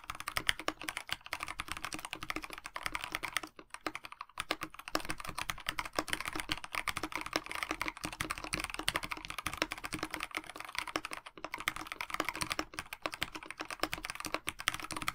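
Fingertips of both hands type continuously on a KBD67 Lite 65% mechanical keyboard with a black plastic case, white blank PBT keycaps and lubed Dinokeys Mints linear switches. The result is a rapid stream of short, crisp key taps, with brief pauses near 4 and 11 seconds. The tone is bright-leaning, centred around 1.9 kHz, with a smooth, thocky character.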